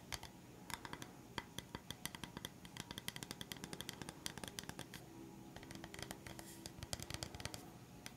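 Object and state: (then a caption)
Bamboo coaster. A solid, round, flat bamboo coaster is held upright and tapped quickly with the fingertips and nails. A quiet, rapid stream of dry, crisp clicks and soft knocks rolls on without pause, with bright ticking on top and a low body underneath. Each tap dies away almost instantly with no ring.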